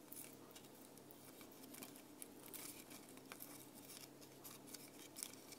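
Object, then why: Thin plywood disc ornament. Long painted nails scratch and tap along a thin laser-cut plywood disc ornament with a deer design, held in the hand. Quiet, dry scratching with a bright, hissy texture is broken by short, sharp clicks that die away almost instantly, over a faint low hum.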